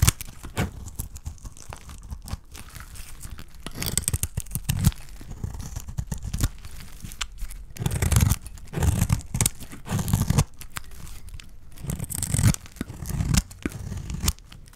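A small metal blade scrapes and slices thin flakes from a solid, hand-sized, cream-colored dry soap bar. The result is a steady run of dry, crunchy tearing scrapes with a dull low body and a faint bright hiss, swelling into louder, denser bursts around the middle and toward the end.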